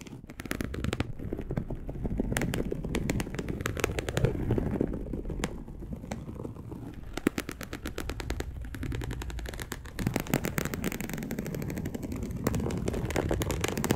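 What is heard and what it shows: A dark polyester mesh bed sheet is scratched rapidly with long acrylic nails, making a dense, continuous run of fast, dry, crackling scrapes. The sound is mostly low and full-bodied, with sharp bright ticks standing out and brief lulls and surges in intensity across the clip.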